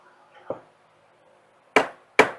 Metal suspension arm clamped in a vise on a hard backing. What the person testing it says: I hear that's solid. When I tap on the center here, I can hear it travel all the way through the vice.